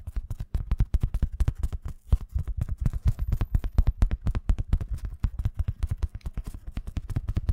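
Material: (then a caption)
Nylon fabric. A padded, filled black nylon fabric pencil case held in the hands is scratched and tapped with fingernails. About fifty quick, dull, low thuds come in an uneven rhythm, with faint bright scratching between them and almost no ring.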